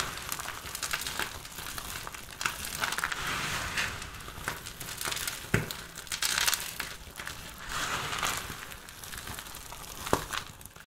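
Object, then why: Pile of soap shavings. Two hands with long purple-painted nails scoop, squeeze, crush and rub a large loose pile of dry, crumbly soap shavings and chips in pink, beige and lilac on a dark surface. The result is a steady, bright crinkling crunch with louder crackling bursts as the flakes crumble and fall back onto the pile.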